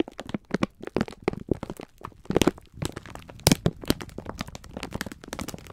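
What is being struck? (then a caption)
Sponge scourers in plastic film wrapper. Fingertips squeeze and rub the clear plastic film wrapper of a full pack of sponge scourers. Dense, crisp crackling and crinkling snaps follow one another rapidly, each dying away almost instantly, with a soft low-mid body beneath the brittle film noise.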